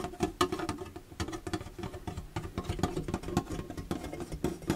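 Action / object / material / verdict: scrape / plastic storage box / plastic / none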